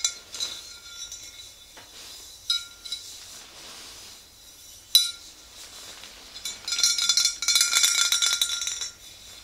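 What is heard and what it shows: A tall clear glass swing-top bottle, mostly full of yellow liquid and standing upright, is tapped on its lower sides with long green-painted nails of both hands. Sparse bright clinks with short high ringing tones open the clip, then give way to a faster, denser flurry of light tapping toward the end.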